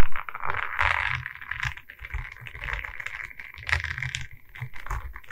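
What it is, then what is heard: Diamond painting board of resin beads on wood, tapped with nails. A diamond painting of resin beads on a wooden canvas board is held at its sides while long red nails tap across the bead face and the wooden frame. The result is a continuous run of quick, dry clicks and crackles with a soft low thump beneath them.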